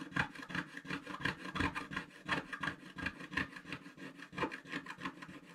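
A wooden stylus scratches the coating off a flat, black-coated scratch-art paper page in quick, uneven back-and-forth strokes, roughly three per second. Each stroke is a dry, raspy scrape with a bright, papery edge and no ring after it. The sound stays quiet throughout.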